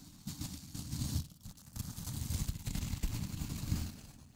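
A fingertip scratches and flicks the dense white nylon bristles of a small blue plastic scrub brush held close to the microphone. The result is a steady run of soft, dry crackling and scratching with a low, thumpy rumble underneath and a faint bright hiss.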